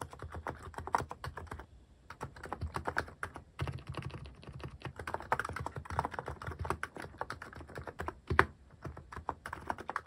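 Fingertips type steadily on a mechanical keyboard fitted with plastic cat keycaps, producing a rapid stream of short, dry clacks with a soft low thud under each press. The typing pauses briefly around the two-second mark, then continues at an even pace with a few sharper, louder strokes.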